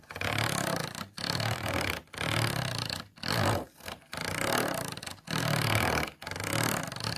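A thin plastic stick is scratched along the inside of an empty, hollow, clear plastic food container with ridged walls. About eight rasping, ridged scraping strokes are heard, separated by brief pauses. The sound is broadband, with a bright clattery texture over a hollow low body.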